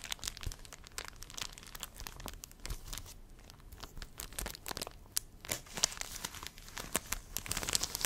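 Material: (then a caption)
Plastic. A thin, clear, crinkly plastic film sheet is held in both hands and crumpled and rubbed by the fingers close to the microphone. The result is a steady stream of dense, bright crackles and crinkles with short sharp snaps and no lingering ring.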